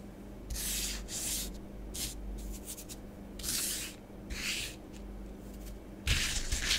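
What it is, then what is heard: Bath bomb powder being traced on a plastic tray. Long nails write letters and rub through orange bath bomb powder spread on a grey plastic tray. Soft, bright, hissy scratching comes in separate bursts of varying length over a faint steady low hum. The last strokes are the loudest and grittiest.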